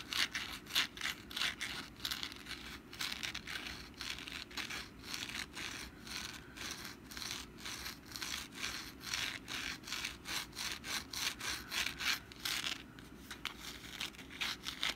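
A hand-sized, rust-brown papier-mâché pumpkin decoration with a textured surface is held in the hand while long black nails scratch and tap it. The result is a steady stream of bright, dry, papery scratches and quick taps that each die away almost at once, in a loose, uneven rhythm with very little low end.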